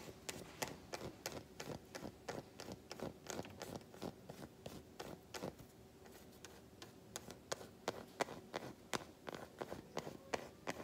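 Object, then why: Solid milk chocolate bar. Long nails tap and scratch the smooth back of an unwrapped solid milk chocolate bar, making quick, dry, irregular clicks with short bright ticks. Faint scraping runs between them, and there is a quieter stretch of light scratching around the middle.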